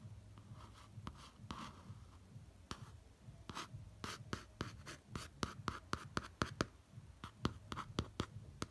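A fingertip traces the lip, nose and eye lines printed on the glossy cover of a laminated cardboard hardcover notebook, lightly rubbing and tapping it. Soft, low, dry scratching is broken by a series of short, sharp taps that carry bright clicks and die away at once.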